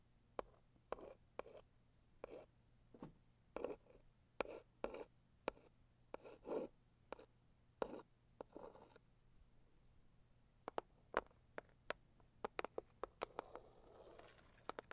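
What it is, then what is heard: Cardboard gift box, tapped and scratched. A single long fingernail taps and scratches the lid of a hollow, medium pink floral Saviland cardboard box. Quiet, crisp dry taps alternate with short soft scratching strokes, the taps grow quicker and brighter toward the end, and a faint low hum runs underneath.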